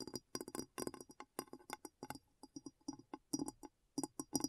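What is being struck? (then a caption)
Glass bowl. A glass bowl is tapped in a quick, uneven series of light clinks. Each tap is short and bright, with a low tone near 281 Hz. The taps die away almost at once.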